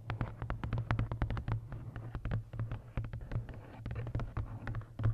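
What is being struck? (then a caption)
Paperback coloring book, card cover. Long nails tap and scratch the matte card cover of a large paperback coloring book ('Lost Ocean') with a solid paper block, held upright. Quick, dry taps with bright clicky edges come in an irregular stream, mixed with soft scratching. A steady low hum runs underneath throughout.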